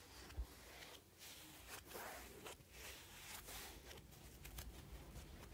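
A hand-sized rectangular kitchen sponge of soft, porous yellow polyurethane foam with a green abrasive scouring layer is held in one hand and scratched and rubbed with the fingertips of the other. The result is a steady, bright, scratchy rustle that swells and fades in short bursts over a quiet low rumble, with a brief soft thump near the start.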